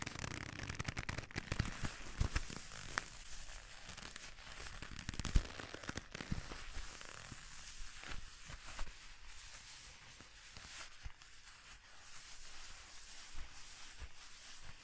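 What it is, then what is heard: Leather gloves creaking. A pair of black leather gloves worn on both hands clench and rub together close to the microphone, making the leather creak and crinkle. The sound is a dry, irregular crackling with sharp little snaps scattered throughout, busier and louder in the first half and then quieter and sparser.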